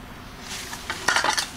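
A steel torque damper from an SST transmission is shaken by hand, and its loose internal springs clang and rattle metallically. The bright, jangling clanks build to a cluster near the end over a faint background hiss. The clanging marks the torque damper as bad, so it is being sent out for rebuild.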